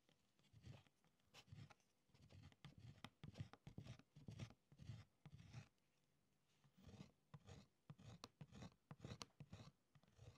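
A hand scratches Latin phrases into the thin beeswax layer of a writing tablet in a wooden frame with a short metal stylus, a loose string lying on the wax surface. Quiet, irregular bursts of scraping strokes carry a soft low body with bright scratchy edges, separated by brief pauses between letters and words.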